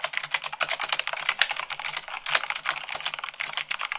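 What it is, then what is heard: Plastic mechanical keyboard. Fingertips with long nails type fast on a full-size mechanical keyboard with white plastic keycaps on a black frame. The result is a rapid, uneven stream of sharp, bright plastic clicks and clacks that die away almost instantly. A faint low hum sits underneath.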